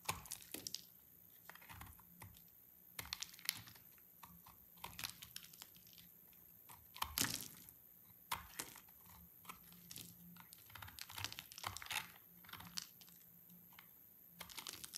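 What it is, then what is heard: Dry soap bar being shaved. A cream and orange dry solid soap bar is shaved with a utility knife blade, giving crisp, crunchy, bright scraping cuts in quick bursts with short pauses between them. The sound is quiet and high, with a faint low hum underneath.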